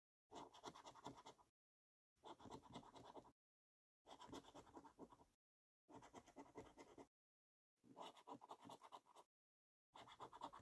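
A coin scratches rows of latex-covered symbols off a purple paper scratchcard held in the other hand. Six bursts of quick, gritty rasping, each just over a second long, are separated by brief silences, with the last burst cut off at the end. The scraping has a dry, papery texture centred in the mid range with some bright hiss above.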